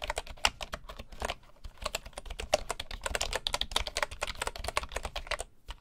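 Fingertips of both hands type rapidly on a full-size bamboo wood keyboard with wooden keycaps resting on a table. Dozens of short, dry, bright key taps run in quick, uneven bursts, with a brief lull near the middle and just before the end. Each tap stops almost at once, with a soft low thump beneath the clicky top.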